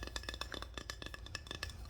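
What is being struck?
Small wooden decor piece.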